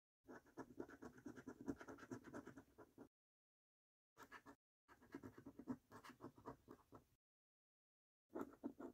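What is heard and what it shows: A coin edge scratches the silver latex coating off the game panels of a thin, flat cardboard Snack Stack lottery scratch card, which lies on a dark wooden table held by the fingertips of one hand. Quick, rough, dry scraping strokes come in bursts separated by short silences, with a mid-range papery rasp and little low or bright content.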